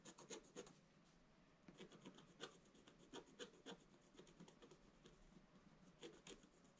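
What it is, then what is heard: Scratch-art paper being scratched. A wooden stylus scratches short strokes across the upper area of a black-coated scratch-art page lying in a flat book. Quick, dry, rasping scrapes come in irregular bursts, with a bright, gritty edge over a soft hiss between strokes.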